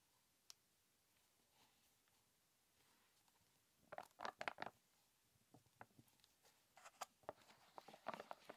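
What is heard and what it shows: A small, sealed Obstgarten yogurt cup, a plastic tub with a foil or plastic lid that seems full and unopened, is held in the hands and tapped on its lid and sides with fingertips and short nails. A lone click at the start is followed by quiet background, then bursts of light, dry clicking and patter with almost no low end and no ring, grouped at first and then more scattered toward the end.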